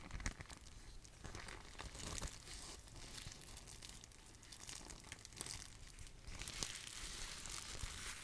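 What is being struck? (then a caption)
Plastic bubble wrap sheet. A sheet of clear plastic bubble wrap, held in both hands, is crinkled and rubbed by fingers with long nails. It makes a quiet, steady stream of bright crinkling and crackling with scattered sharp snaps and a soft low rustle underneath. The texture swells slightly toward the end.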